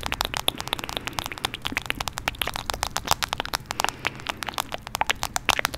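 Long nails rapidly tap and scratch the back and teal plastic case of a smartphone held beside the mic. The result is a dense stream of sharp, bright, clicky taps with very short decay, mixed with a faint scratchy crackle over a low, steady background.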